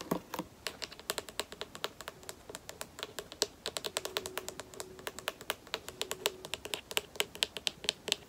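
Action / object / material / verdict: tap / plastic lotion bottle with flip cap / plastic / none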